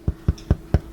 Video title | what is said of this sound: 3 HOUR NO KNEAD BREAD!! EASY HOME BAKED BREAD RECIPE!! | sounds Hollow when you tap on the bottom